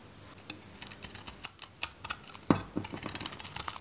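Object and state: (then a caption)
Dry soap bar being shaved. A metal knife shaves the outer layer off a solid, handheld purple dry soap bar with a green interior. The result is a quick run of irregular, crisp scraping ticks and brighter cracks, with sharp snaps near the start and one louder, fuller crack midway before the shaving continues.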